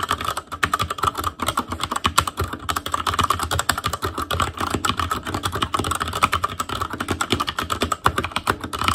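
Both hands type continuously on an ASUS ROG Claymore Core mechanical keyboard with Cherry MX Red switches, black plastic keycaps on a metal frame, and a hollow RGB-backlit housing. The result is a fast, steady stream of short, dry plastic clacks with a hollow mid-range tone and a thump when keys bottom out.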